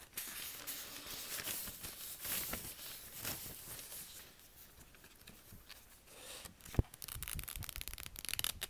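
A lined paper spiral notebook lies flat on a table, its thin pages partly drawn on with marker, as fingertips lift, rub and flip the pages one after another. Soft, bright papery rustles and brushing swishes come with a sharp tap near the end, followed by quicker, crisper page rustling.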